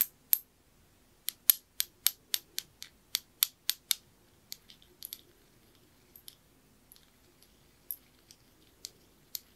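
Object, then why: Small glazed ceramic knob. A small, dark blue, glossy glazed ceramic knob with white lettering is turned in the fingers and tapped and clicked with the fingernails. A quick, fairly steady run of sharp, bright clicks with no ring comes first, followed by softer, more scattered taps and small clusters of clicks over a quiet background.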